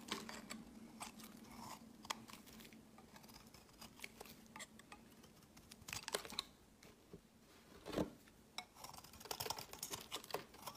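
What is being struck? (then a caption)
Bar of soap shaved with a metal blade. A metal utility blade carves a solid, peach-colored rectangular soap bar with embossed lettering, held in the hand, shaving off curls. Quiet, crisp scraping and crunchy cuts come in quick, bright bursts over a faint steady low hum. The louder strokes fall around 2, 6, 8 and 9.5 seconds.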